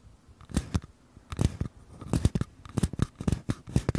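Small empty paper cups held sideways, one in each hand, are tapped and scratched on their outer walls with fingertips and nails. Quick, dry taps come in irregular clusters, with a soft papery thump and bright crackly scratching edges. Each sound dies away almost instantly.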